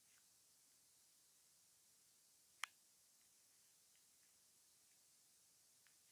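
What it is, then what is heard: Plastic earphone inline remote. A thin grey metal ear-pick-like tool held in fingers scratches and pokes at the surface and seam of a small, hollow white plastic inline remote from wired earphones, taped to a wooden table with clear tape. Against a quiet, steady high hiss, one sharp, bright click stands out, with a few faint, tiny ticks around it. The click dies away almost instantly, with no low-end body.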